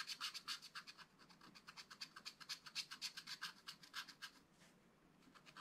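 A wooden stylus scratches tree trunks into the flat, black-coated card of a spiral-bound scratch-art pad. About 32 short, bright, dry scratching strokes come in a quick, fairly steady rhythm. They pause briefly near the end before the scratching resumes.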